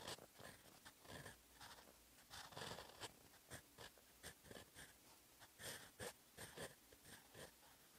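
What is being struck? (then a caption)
Steel pen nib on paper sheet. A steel fountain pen nib scratches across a sheet of lined writing paper while writing in orange ink. Soft, dry scraping strokes come in short, uneven bursts with bright, airy hiss, quiet overall and close-up.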